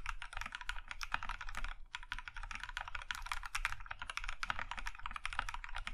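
Both hands type with their fingertips on a compact Plum Iron 165 mechanical keyboard, which has a maroon metal case and cream plastic keycaps. A rapid, steady stream of short, crisp clacks is heard, each with a bright top and a low thocky body, dying away almost instantly.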